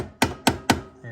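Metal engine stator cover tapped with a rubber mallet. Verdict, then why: Loose. Three short, dull knocks from a rubberized mallet tapping the metal stator cover on a 2008 Honda TRX500FM engine, each with a quick ring around 266 Hz. The tapping loosens the cover until a gap forms, and the sound changes once it comes loose.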